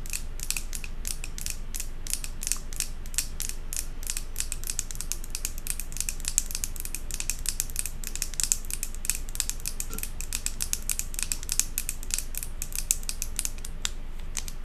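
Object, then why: Glass jar candle filled with wax. Long acrylic nails rapidly tap and scratch the glass body, near the metal lid, of a large glass jar candle filled with solid white wax. The result is a fast, uneven stream of short, sharp, bright clicks and scrapes with almost no ring, over a steady low rumble.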